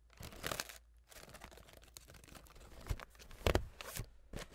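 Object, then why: Folding hand fan with wooden sticks and a fabric leaf. A folding hand fan with light wooden sticks and a thin, flat blue printed fabric/paper leaf is fanned open while long acrylic nails scratch and flick its ribs. Bursts of dry, crinkly rustling alternate with soft scratching, punctuated by sharp clicking flicks with bright edges and a low thump beneath. Each flick stops almost instantly, with no ring.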